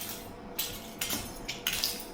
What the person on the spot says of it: Very glassy sounding. Yeah, that is because this lava is not crystallizing. No crystallization. Very weak bonds.